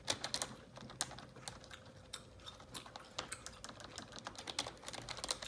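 Long neon-yellow acrylic nails type rapidly on a black full-size plastic computer keyboard resting on a desk. The result is a quick, irregular stream of sharp, bright plastic taps and clicks that die away almost instantly, over a faint steady hum.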